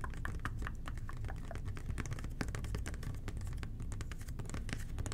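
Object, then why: Plastic toilet cleaner bottle. A hollow red plastic toilet cleaner bottle with an angled nozzle, held in both hands, is tapped and scratched with the fingertips. The result is a steady stream of quick, soft, dry clicks and scratches with a hollow, low-heavy body and a little bright crispness on top. Each tap dies away almost instantly.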